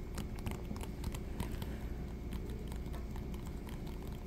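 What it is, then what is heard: Coated canvas wallet. A thin, patterned brown coated canvas wallet, bent into a curve, is tapped and scratched with fingertips and nails. The result is a quiet, steady patter of quick, dry taps and scratchy rustles over a low, muffled rumble, with short bright clicks scattered throughout.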